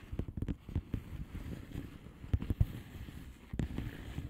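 Long painted nails of both hands tap on a flat blue plastic bubble wrap envelope with air-filled bubbles. The result is a quick, irregular run of soft, dull, low thumps that stop almost instantly, with a few louder taps standing out. There is no bright crackle.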